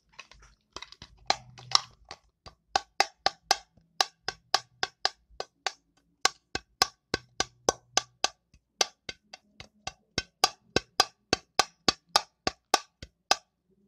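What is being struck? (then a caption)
Small cardboard chewing gum box. A small printed cardboard chewing gum box, likely with gum inside, is held in the hands close to the microphone and tapped and handled with long pink acrylic nails. About 36 sharp, dry, bright clicks sound in an uneven rhythm, each dying away almost instantly, with some soft rustling handling noise early on and a faint low hum underneath.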